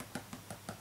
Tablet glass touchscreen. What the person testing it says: it's very loud. The screen is loud compared to the previous generation of iPad